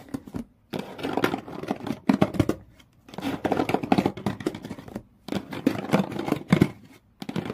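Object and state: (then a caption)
Cardboard shoe box scratched. Fingertips and long nails scratch the corrugated-textured brown cardboard floor and side walls of an empty open shoe box. Bursts of dry, rough scraping come in several separate runs with short silent gaps between them.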